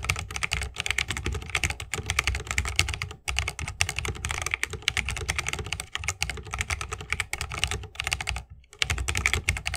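Fingertips of both hands type fast on an RGB-lit 60% mechanical keyboard with plastic keycaps on tactile Holy Panda switches, set in a solid bamboo wooden case resting on a wrist rest. A dense, steady stream of bright, short clacks rides over a deep thock, with brief pauses around 3 and 8.5 seconds.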